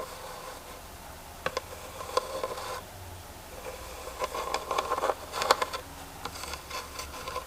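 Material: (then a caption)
Wood. A carved wooden box from India with a textured pinecone design, used to hold printer paper, is tapped and scratched with the fingers. Short, dry taps with a mid-pitched woody tone mix with soft rubbing and scraping. Each tap dies away almost instantly against a low, steady background hiss.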